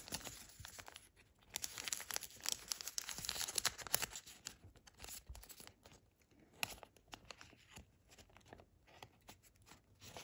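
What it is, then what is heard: Origami paper crane. A nearly finished thin origami paper crane is held in both hands while fingers bend and crease its wings and neck. It makes bright, irregular crinkling and crackling rustles, busiest and loudest in the first four seconds, then softer, sparser crinkles.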